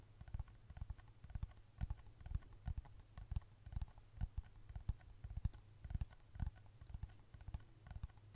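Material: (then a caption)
Plastic. Long red nails tap quickly and repeatedly on the back of a black plastic case on a thin, flat handheld smartphone held close to the microphone. The result is a run of about 32 short, dull clicks in an uneven rhythm, each stopping instantly with no ring and carrying a low, soft thump beneath a light crisp tick.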